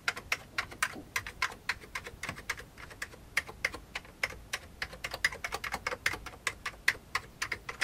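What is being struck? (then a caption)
Plastic computer keyboard keys. A single fingertip presses keys one after another on an old beige full-size plastic computer keyboard with hollow keycaps. Each tap is a short, dry, bright click with almost no low end, falling into an uneven, steady typing rhythm.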